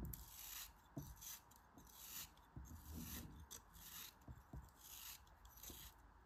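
A shrinking cone-shaped chunk of solid pink kinetic sand, held in the fingers, is sliced with a utility knife blade. Repeated gritty, crunchy cuts come as bright, rasping bursts with soft low thumps underneath, each fading quickly.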